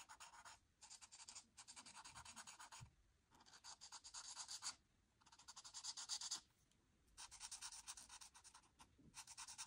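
A marker nib is scratched repeatedly across a flat white paper coloring sheet, filling in an orange oval. The result is a series of dense, bright, crunchy scratching strokes in bursts separated by short quiet pauses.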